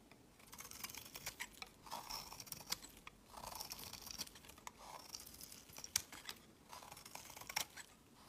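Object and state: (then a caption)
Bar soap being carved. A snap-off metal blade scrapes and carves thin shavings from a solid, rectangular lavender soap bar held in the fingers. Quiet, bright, dry scraping comes in bursts, with sharp crisp clicks and short hissy strokes.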